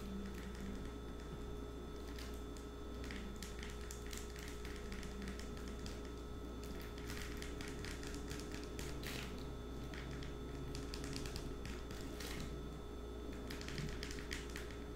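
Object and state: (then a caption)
Plastic wipes packet. A soft plastic wipes packet is held flat and tapped rapidly with long nails, giving quick, light crinkly taps over a steady low hum. The tapping runs continuously and quietly throughout.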